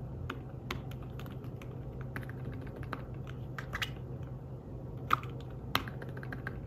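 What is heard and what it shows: Fingertips type on the keys of a thin, fabric-covered tablet keyboard case, making soft, quick, irregular taps with almost no ring. A low steady hum runs underneath, and two sharper, brighter clicks stand out near the end.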